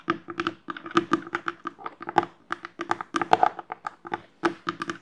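Long nails tap and scratch the orange plastic lid and side of a hollow black plastic HEAD padel ball tube, which probably holds balls. The result is a rapid, uneven series of light, dry clicks and short scrapes with a hollow plastic ring around 740 Hz that dies almost instantly. Bright edges appear on the sharper taps.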